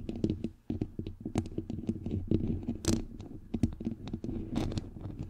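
Long nails scratch and fingertips tap on a bare, hollow white metal mesh microphone grille, making a dense run of close, low, thumpy taps and rustling scrapes. A few brighter scratching bursts stand out, with a brief quiet gap near the start.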